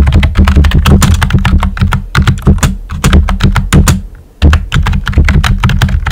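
Fingertips with short nails type steadily on a pink and white plastic computer keyboard with round typewriter-style keycaps and hollow keys. The result is a fast run of sharp clacks over a deep, hollow low thud. A brief pause comes near the end before the typing resumes.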